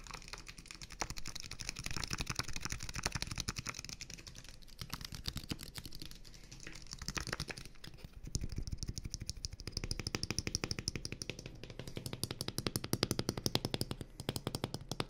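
A small, clear, partly filled plastic water bottle with thin hollow walls is held close and tapped quickly with fingertips along its sides, then the fingers work at its plastic cap. The result is a dense, steady stream of soft, rapid clicks and hollow taps, with a low, thumpy body and bright, crisp edges. Each tap dies away almost instantly, and the tapping picks up in intensity in the second half.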